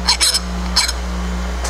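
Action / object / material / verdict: scrape / heat-treated steel part under a file / steel / hard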